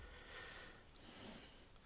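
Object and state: Nothing is struck.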